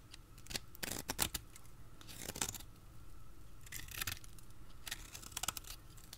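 A hand holds a solid, dry, pale green rounded soap bar while a utility blade cuts thin crisp slices from its edge. Short, bright, scratchy crackles and crunches come in irregular bursts, each dying away almost at once over a faint low background.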